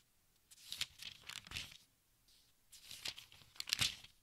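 Fingertips brush and flip the thin paper pages of a large open textbook, making soft, bright crinkling and rustling with almost no low end. Two bursts of rapid page handling are separated by a brief quiet pause.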